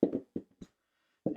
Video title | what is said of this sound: Building Arrows How to Glue Points in the BEST Way - Install Arrow Components the right way first | this one doesn't rattle either